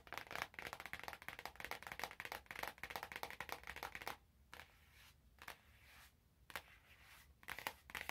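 Fingers scratch and crinkle the cellophane wrapped over an orange cardboard box held in both hands. The result is dense, bright crackling rustles for the first four seconds, then it quiets to a soft hiss broken by short, sharp crinkle bursts.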